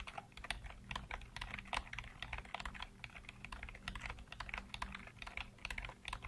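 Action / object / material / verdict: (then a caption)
tap / plastic computer keyboard / plastic / none. Fingertips rapidly tap and type on the hollow keycaps of a full-size black plastic computer keyboard. A quick, uneven run of short, bright, clicky key strikes dies away almost at once, over a steady low hum.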